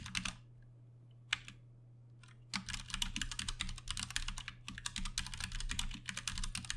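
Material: Plastic.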